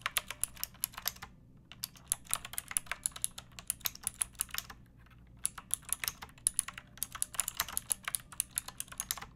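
Long painted nails and fingertips type on a pink backlit typewriter-style mechanical keyboard with round plastic keycaps and a hollow plastic case. Dozens of quick, bright, sharp keystroke clacks come in bursts, with two brief pauses, each click dying away almost instantly.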